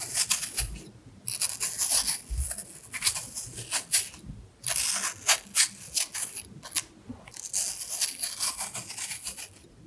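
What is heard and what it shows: A small knife scrapes and peels the skin between the carved hearts of a solid red apple held in one hand. Bright, crisp scraping and peeling strokes come in quick bursts separated by short quiet pauses, with almost no low end.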